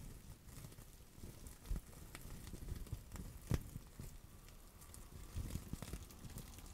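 Long acrylic nails tap, scratch and press the bubbles of a clear plastic bubble wrap pouch held in both hands. Soft crinkling and patter are broken by a few sharper clicks and low, dull thumps. The sounds stay quiet and close, with a faint steady hiss underneath.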